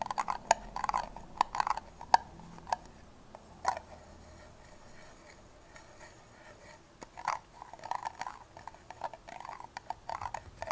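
Long nails scratch and tap the ribbed side of an empty, hollow red plastic party cup held sideways close to the mic. Sharp, hollow plastic clicks and taps with a mid-pitched ring come in irregular bursts, mixed with soft scraping and brief quiet gaps.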